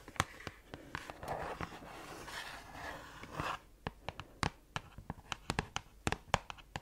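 Long acrylic nails tap and scratch a small, closed red printed cardboard gift box of bath products that seems to be filled. Sharp, dry clicking taps open the clip, give way to a soft, papery scratching rasp in the middle, then return as a quick series of crisp, bright taps with almost no ring.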